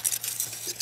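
Pieces of homemade wood charcoal, taken from a propane-tank retort after cooling and very light for their size, are clinked together about five times. Each clink is a bright, glassy, high-pitched tink that dies away almost instantly. The glass-like ring marks the charcoal as fully carbonized, pure charcoal.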